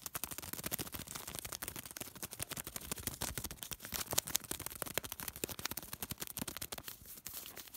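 A small piece of thin white paper is pinched, bent and crinkled between fingertips. It makes a fast, dense run of sharp, dry crackles that are bright and hissy, with very little low end. The crackling stays fairly quiet and steady throughout, each snap dying away almost instantly.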